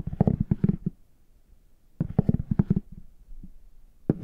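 A plastic stick with a rounded tip taps and scratches the embossed front of a brown, chocolate-bar-shaped faux leather hard shell case held upright. Quick clusters of dull, low taps come in three bursts separated by quiet pauses, with a faint scratch between them. Each tap stops almost at once, with no bright ring.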